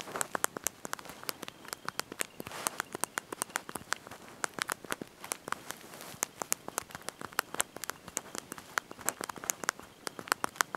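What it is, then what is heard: Plastic phone keyboard being typed on. Thumbs and fingertips press and tap the small backlit plastic keys of a slide-out mobile phone's QWERTY keyboard, held in the hand while typing a message. Quick, light, sharp clicks come in an irregular stream with bright tops and almost no low end. Each click dies out almost instantly over a faint background hiss.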